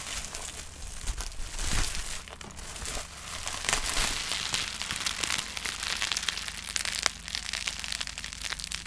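A clear plastic bubble wrap sheet with small, hollow, air-filled bubbles is held and twisted in both hands near the microphone while fingertips crumple it and pop the bubbles. The result is a dense, bright crinkling and crackling texture punctuated by sharp, quick pops that end almost instantly.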